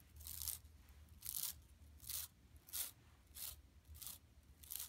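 Long nails scratch across a large, flat, empty yellow woven plastic mesh shopping tote lying on carpet, with the hands near its bottom edge at the end. The strokes come as short, bright, hissy rasps spaced about a second apart, over a faint low rumble between them.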